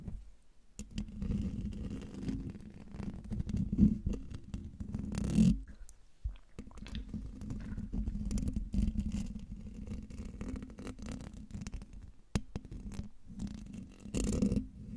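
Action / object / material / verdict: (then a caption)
scrape / metal mesh microphone grille / metal mesh / none. Fingertips and nails of both hands scratch and rub the hollow metal mesh grille of a silver condenser microphone. The result is a dense, continuous low rumbling scrape with a steady hum near 210 Hz, broken by a few louder scratchy bursts and brief quiet gaps.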